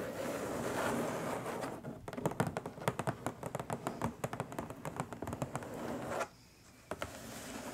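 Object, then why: Flat cardboard box. Long nails scratch across the top of a long, flat, printed cardboard box, making a steady papery rasp for about two seconds. Quick, dry taps on the hollow box follow and continue until near the end, when the sound drops to near silence broken by a couple of final taps.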